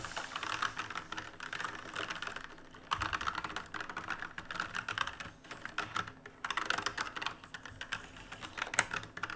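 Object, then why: Plastic mechanical keyboard. Fingertips type continuously on the plastic keycaps of a black RGB mechanical keyboard made of plastic and metal. The result is a rapid, dense stream of short, dry clacks and clicks centered around 1.4 kHz with bright upper edges, uneven in loudness with brief lulls between bursts. Each keystroke cuts off almost instantly, with no ring.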